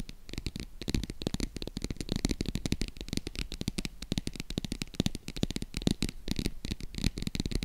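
A small, hollow green faux crocodile-embossed leather zip wallet held in the hands is tapped and scratched with long acrylic nails. Rapid, dense, dry clicks and taps with a low, hollow thump blend with bright, scratchy rasps across the textured surface. The pattern stays steady and close throughout.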